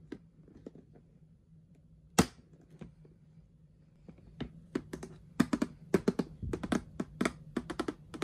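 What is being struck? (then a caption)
Plastic storage box lid. Long nails and gloved fingertips tap and scratch an orange plastic lid with a handle on a hollow storage box filled with ribbon spools. Sharp, dry clicks with almost no ring start sparse and grow into a quick, irregular run of taps over a faint low hum, one loud bright tick standing out early on.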